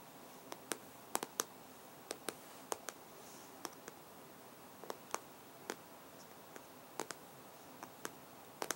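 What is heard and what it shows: An iPad in a black case lies flat while the fingertips and short nails of both hands tap rapidly on its hard glass touchscreen. About twenty short, dry, bright clicks stand apart over a faint steady hiss. Each click dies away almost instantly.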